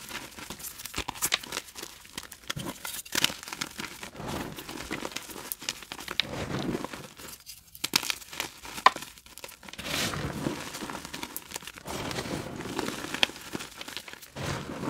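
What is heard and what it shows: A small, dense, colorful block of reformed gym chalk (magnesium carbonate) that glows under UV light is held in the palm. Bare chalk-covered fingers crumble and squeeze it over a bowl of loose chalk powder. Dry, bright crunching and crinkling crackles come in steady bursts, with brief quiet gaps.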